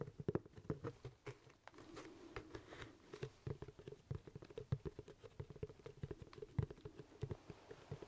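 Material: Leather.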